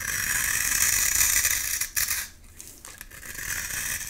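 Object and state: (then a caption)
Bar soap being scraped. A flat metal blade scrapes shavings off a solid pink bar of soap with an embossed logo, held in one hand. The scraping is a steady, bright, gritty rasp that drops off briefly partway through, then builds back up toward the end.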